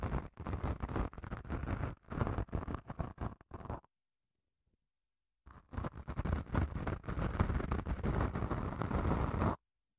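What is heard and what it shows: Long nails scratch along the gritty face of a long grey padded emery nail file, making rough, low-heavy rasping strokes in quick uneven bursts. The scratching stops for about a second and a half of silence, then resumes as a denser, steadier rasp before cutting off.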